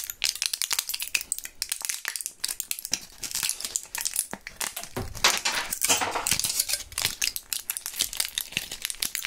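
Gloved fingers crush and crinkle a mostly empty clear plastic and foil Thrills gum blister pack with one purple gum piece left inside. The result is a dense, continuous run of bright, crisp crackles and sharp plastic snaps with almost no low end, swelling louder in the middle before easing back.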